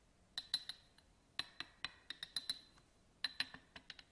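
A small, hollow, empty yellow glass votive candle holder with a studded surface, standing on a table, is scratched and tapped with a black pen-like tool. There are 16 quick, bright glassy clinks, each with a short high ring over faint scratching in between.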